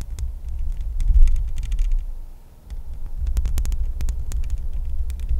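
Long acrylic nails scratch and tap the hollow metal mesh grille of a Blue Yeti X microphone, then move down to tap its metal body near the base. The result is a deep, throbbing rumble of muffled thumps with scattered short, bright clicks on top. The sound briefly fades around the middle before picking up again.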